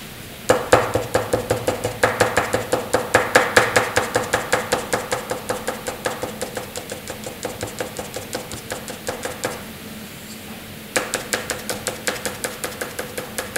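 A graphite pencil shades flat white drawing paper by hand with quick strokes, producing a fast series of dry, scratchy strokes with bright edges and a faint mid-range tone. The strokes run steadily, pause briefly near the end, then resume.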